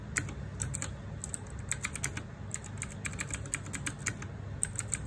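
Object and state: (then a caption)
Plastic mechanical keyboard being typed on. Fingertips and nails type rapidly on a small RGB-backlit 60% mechanical keyboard with plastic keycaps. Quick, sharp, bright clacks that die away almost instantly fire in an uneven stream over a steady low rumble.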